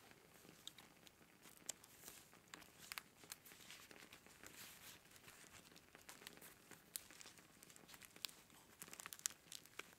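A hand-length bundle of dried white sage leaves wrapped in string, solid and dry, is held up in both hands while fingertips rub and squeeze the leaves. The result is quiet, bright, continuous crinkling and crunching, with sharp, dry snaps that stop almost instantly and almost no low end.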